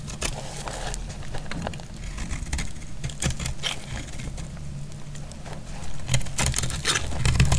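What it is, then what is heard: Dry bar soap being cut. A solid bar of dry yellow soap held in the hand is sliced and scraped with a metal blade. Quick, irregular crackling scrapes repeat about four times a second over a low rumbling bed, with bright crisp clicks as the blade bites. The scraping grows a little louder toward the end.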